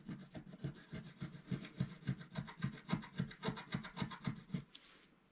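A wooden stylus held upright scratches across the top area of a flat, black-coated scratch art paper sheet. It makes a quick, steady run of dry, raspy back-and-forth strokes with a low, rubbing body and bright, gritty edges. The scratching stops just before the end, leaving a faint hiss.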